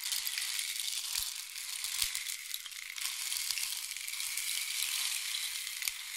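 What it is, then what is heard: Wooden rain stick. A long, hollow painted wooden or bamboo rain stick is tilted and turned horizontally, sending its internal pellets flowing through it. The result is a steady, bright, sizzling rush of trickling pellets with faint small ticks, swelling and easing slightly but never stopping for the whole clip.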